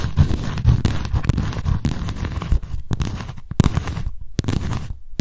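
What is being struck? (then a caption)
Paper notebook with embossed cardboard cover. Long nails scratch the embossed text and edge of a white embossed cardboard cover on a paper notebook. The result is a dense, rough scraping texture with quick crackly bursts, its energy concentrated in a low rumbling range, with a few brief gaps near the end.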